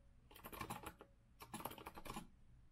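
Both hands type with fingertips on a rose-gold Azio retro mechanical keyboard with a metal frame and round plastic keycaps. Two quick bursts of clicky keystrokes are heard, with a short pause between them. The clacks are crisp and dry, fading almost instantly.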